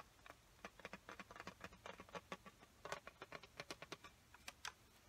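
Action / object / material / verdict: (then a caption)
tap / clear plastic lid of a watercolor paint set / plastic / none. Long fingernails tap and scratch across the clear plastic lid of an opened watercolor paint set. About 25 quick, dry, clicky taps land in an uneven, typing-like rhythm, centered around 1.1 kHz with bright edges. Each tap dies away almost instantly over a quiet, soft scratching between them.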